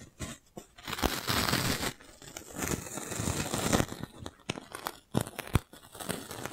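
A clear, thin, hollow, fist-sized plastic magic balloon bubble is held in one hand while the fingers of the other hand rub and press it. This produces dry crinkling and rustling with bursts of broad, bright crackle. Several sharp, short snaps stand out toward the end.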